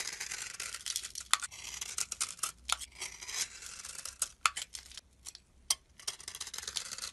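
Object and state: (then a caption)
Bar soap scraped with a blade. A solid tan-brown rectangular bar of soap, held in the hand, has its edge scraped with a metal blade, shaving off dry, powdery curls. The sound is a bright, dry, crisp scraping in uneven bursts, punctuated by sharp clicks as the blade catches and releases.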